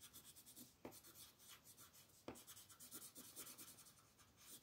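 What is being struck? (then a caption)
Wooden colored pencil rubbed on a paper coloring page. A wooden colored pencil is rubbed repeatedly over a flat paper coloring book page while a hand with long nails holds the page. The result is a quiet, steady, bright scratchy rasp of back-and-forth strokes, broken by two sharper clicks.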